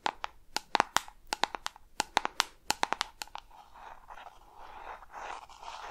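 A small, hollow, peach-pink round plastic jar with a screw lid is tapped with long red nails on the lid and sides close to the microphone, giving about 19 sharp, dry clicks with a hollow mid-pitched ring over the first three and a half seconds. The tapping then gives way to a soft, continuous scratching and rustling as the nails drag over the jar's lid and sides until the end.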